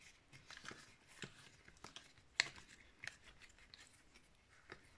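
Long nails scratch and tap the surface of a cream-coloured hollow plastic Wii steering wheel held in the hands. Soft, bright scratching runs throughout, broken by quick light clicks and one sharper tap near the middle. The taps are dry and stop at once.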